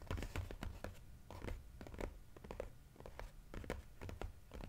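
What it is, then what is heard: Cardboard puzzle box. Fingernails tap and scratch the narrow side panel of a glossy cardboard jigsaw puzzle box held on its side. The taps come fast and irregular, short and dry with no ring, mixed with soft scraping. The result is a quiet, dull, low-heavy patter with only faint bright edges.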